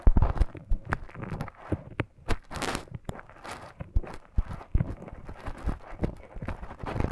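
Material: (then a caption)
Silicone. A thin bamboo stick scratches inside the ear canal of a life-size soft silicone ear model. Close, muffled scraping and crackling comes in irregular bursts of soft thumps and rustles, mostly low and dull with brief brighter crackles.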